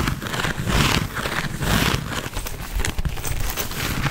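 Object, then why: Quilted leather handbag. A black quilted leather handbag is held close to the mic and scratched and rubbed with fingernails. The result is continuous scratchy, crinkling friction with a low rumbling body and bright rasping edges. The sound swells and fades in uneven strokes.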